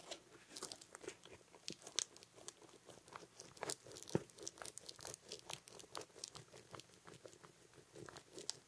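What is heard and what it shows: A medium-sized green camouflage nylon pouch, soft and apparently filled, is held up in one hand while fingertips and nails scratch and tap its fabric surface. The result is a quiet, steady stream of dry, crunchy, crinkly scratches with bright, hissy edges, punctuated by short, sharper taps that die away almost instantly.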